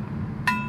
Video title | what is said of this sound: 플루트 헤드(조인트) Flute Headjoint | 이런 울림이 있으면 골드에요